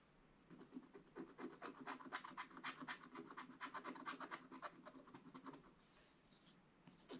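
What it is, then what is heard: Scratch-art paper being scratched. A wooden stylus scratches away the black layer of a coated scratch-art paper page in a flat book. Quick, repeated dry scratching strokes come in a steady rhythm, each a short raspy burst centred around 1 kHz with bright hiss on top. The strokes ease off into a quieter stretch near the end before a final few scrapes.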